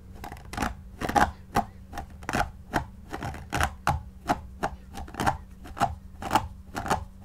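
A white paddle brush with pin bristles is drawn in quick strokes through the long synthetic shag fibres of a soft, stuffed shaggy faux fur pillow. Each stroke gives a short, dry, bristly scratch with a bright, airy top and a faint mid-range tone, repeating in an even rhythm with brief quiet gaps between.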